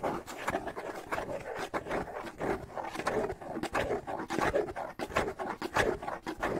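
A small hand-held bongo drum with a hollow wooden shell and a stretched skin head is held in one hand while fingertips scratch across the head and shell. A steady run of dry, rasping scrapes and light taps with a hollow mid-range body sounds about 95 times a minute at an uneven pace, each dying away quickly.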